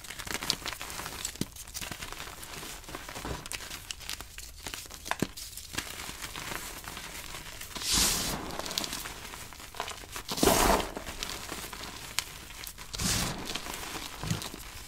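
Both hands press, squeeze and rub a pile of blue dyed gym chalk, mostly powder with small solid, crumbly chunks, using fingertips and palms. A steady soft crinkling and crunching runs throughout, with small sharp ticks and three louder, brighter gritty swells around 8, 10.5 and 13 seconds.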